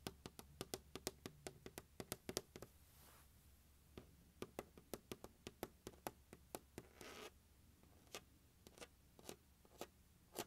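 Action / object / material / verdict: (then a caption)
tap / hard plastic case / plastic / none. Fingertips tap and scratch the top edge of the lid of a closed, large, hollow turquoise hard plastic glockenspiel carrying case resting on carpet. Quick, dry taps with a short hollow knock come in uneven bursts, broken up by a few soft scratching passes.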